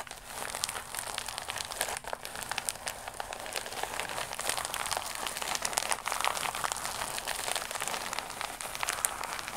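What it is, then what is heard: Plastic mailer pouch. A flat, iridescent, embossed holographic plastic mailer pouch, held against the chest, is scratched and tapped with long nails. It makes a steady stream of bright, dry crinkling and scratching with quick ticks throughout, and almost no low end.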